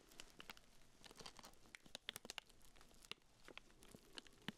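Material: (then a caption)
Plastic film. Black-gloved fingertips scratch and crinkle the loose clear plastic wrapper around a small pink urinal deodorizer cake. The result is a quiet, steady stream of bright crinkling and scratching, dotted with sharp, dry crackles and clicks that stop instantly. The sound centers around 3.4 kHz.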